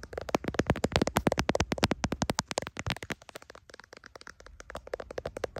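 Fingertips and nails tap and scratch the back of a clear plastic case on a hand-sized smartphone, near its camera, while the phone, seen in a mirror, records itself. A rapid, uneven run of dry, close clicks and scrapes with very short decay and a low thump underneath, louder through the first half and softer toward the end.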